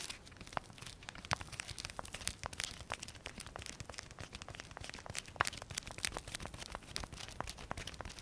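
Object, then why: Nylon fabric pouch with velcro flap. Fingers peel and press the velcro flap of a small black nylon pouch and scratch its fabric. The result is dense, quiet velcro tearing and crinkling: a rapid run of short, dry, bright clicks and crackles with no ring, lasting about eight seconds.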